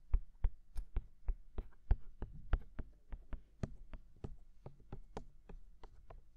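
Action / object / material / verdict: tap / silicone ears of a binaural microphone / silicone / none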